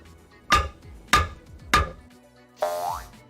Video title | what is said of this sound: [백브리핑] ① 명품 의사봉? ② '진짜 ○○ 국수' / JTBC 뉴스룸 | 너무 가벼워 탁탁 튀어서 이상한 소리가 난다